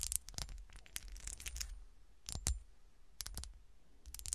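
Long dark-polished nails tap and scratch the ridged surface of a small, solid, textured and frosted cut-glass golf shoe ornament resting on a shiny dark cloth. Quick, dry, bright clicks and raspy scrapes come in irregular clusters with brief pauses, each one dying away almost instantly over a faint low rumble.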